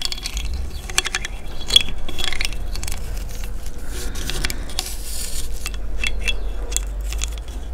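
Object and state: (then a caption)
Large cowrie seashell, scraped. A thin dark stick is scraped across the toothed ridges of the opening of a large, hollow cowrie seashell held in one hand. It produces rapid, dry, ratchet-like clicking with bright, sharp edges and a faint tone around 3.3 kHz. The clicking plays over a steady low rumble, and each click dies away almost instantly.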